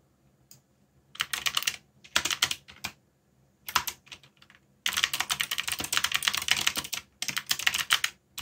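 Fingertips type on a backlit plastic mechanical keyboard with plastic keycaps, pressing the keys in quick bursts separated by short pauses. The key presses are bright, dry clacks that die away almost at once, with very little low end, and the longest run of steady typing comes near the end.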